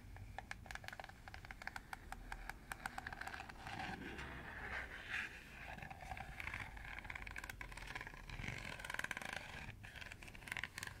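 Fingernails scratch along the rim slots of a round, hollow, empty green plastic colander held close to the microphone. It makes a steady run of quick, dry clicks and ticks over a soft scraping hiss, with brighter bursts near the end.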